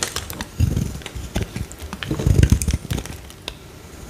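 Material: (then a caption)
Soap. A small, solid, pale green Dettol bar soap held in hand is scraped and carved with a metal utility knife blade, sending crumbly shavings off. The result is a dense run of short, dry scraping and crackling strokes, mostly low and thuddy, with bright flecks. The bursts come in quick clusters, loudest around the middle.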